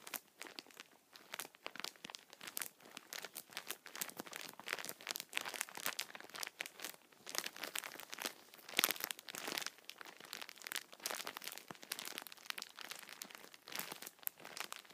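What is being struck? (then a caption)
Tissue multipack in plastic film. Fingertips scratch the top of a plastic-wrapped tissue multipack, then hands squeeze the pack, crinkling the film. Dense, bright crackles and rustles run throughout, with almost no low end.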